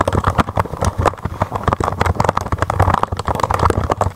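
Continuous typing on a full-size plastic mechanical keyboard with white, blue and red keycaps on a white desk, tapped with fingertips and long manicured nails. The result is a fast, steady stream of short, dull clicks with a low thump under each keystroke, and little high-end brightness.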